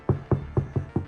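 Six taps on the heavily soundproofed steel rear door of a 2024 Ford Ranger Raptor give short, dull, low thuds that die away almost at once. Each knock sounds dead rather than tinny, an improvement from the soundproofing.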